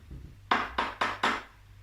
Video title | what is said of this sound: STEM for kids with Sarura Kids | So Mummy's Vaseline bottle has a funny sound because it sounds like metal.